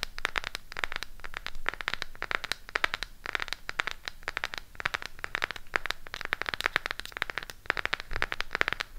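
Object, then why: Small cardboard eyeshadow palette case. A small, closed burgundy Harry Potter eyeshadow palette with a cardboard case is held in the hands and tapped and scratched with long pink acrylic nails. The result is a steady stream of quick, dry, crackly clicks and scratchy rasps, bright and close, each dying instantly with no ring.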